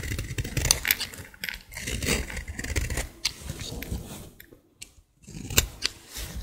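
A hand with long dark nails holds a solid, dry green bar of soap and scrapes it with a green-handled utility blade over a pile of shavings. Dry, crisp scraping and crumbling strokes come in quick bursts with bright edges and a soft low rumble. There are brief near-silent pauses between strokes.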